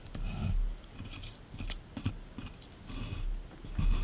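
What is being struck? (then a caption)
Plaster excavation block. A small chisel tool scrapes and digs into a solid plaster block sitting in a tray. The result is a run of dry, gritty scratches and crumbly rasps that swell and fade in short bursts. Low thuds sit under bright, hissy scraping noise.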